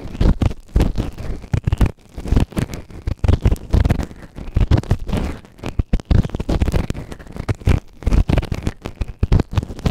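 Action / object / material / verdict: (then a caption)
scrape / silicone ear-shaped microphone scraped with a plastic ear tool / silicone / none. A white plastic ear tool held in fingertips scrapes inside the canal of the right ear of a grey silicone ear-shaped microphone, which is soft and solid and sits on a round base. The close scratching comes through as a dense run of boomy, low, rumbling thumps and rustles with short pauses, and almost no high-end content.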